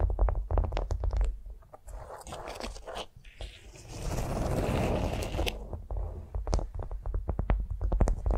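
Long nails tap and scratch a flat beeswax-coated cotton food wrap resting on a vinyl mat. Quick, irregular crinkly taps open and close the clip, with a steadier rasping scratch in the middle, all over a dull low-end thump.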